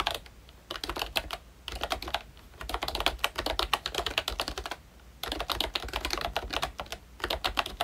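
Both hands tap the round black keycaps of a pink plastic ROYCHE Disney Mickey Mouse retro membrane keyboard with their fingertips while typing. Quick, bright, dry clicks come in rapid bursts, with brief pauses at about 0.2, 1.7 and 4.6 seconds.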